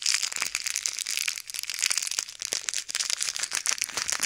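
A small, full, clear plastic bag of many pink, red and white plastic pearl beads is squeezed and kneaded between fingertips and thumbs above silicone ear microphones. The beads shift and click while the bag crinkles in a dense, continuous, bright rustle with no low end.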